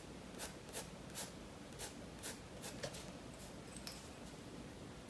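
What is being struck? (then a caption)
Graphite pencil on paper sketchbook page. A graphite pencil held in the fingers scratches and rubs lines across the page of a large spiral-bound paper sketchbook lying flat on a wooden table while drawing a fish. Soft, dry, bright scratching strokes come in irregular bursts about once a second over a quiet low hiss.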